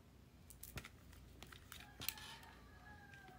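Fingertips turn a small, hollow lilac plastic Sony PSP, its screen off, from front to side to back. Quiet taps, clicks and handling noises sound on the plastic shell and buttons. A sharper, brighter click lands about two seconds in.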